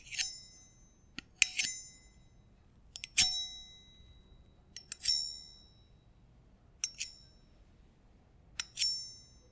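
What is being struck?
Small stainless steel bar jigger tapped with metal thimbles.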